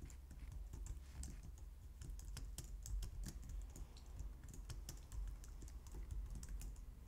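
A white low-profile plastic computer keyboard is typed on with long painted nails and fingertips. Quick, light, bright key clicks and taps run steadily throughout over a constant low hum, each click short and dry.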